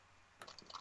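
The eye trigger of a haunted ventriloquist-style dummy is flicked, and its metal spring snaps the eyes back to center. After a quiet stretch of faint hum, a sharp bright click is followed by a quick series of small, dry springy ticks and rattles. The spring-loaded eyes cannot stay looking left or right on their own.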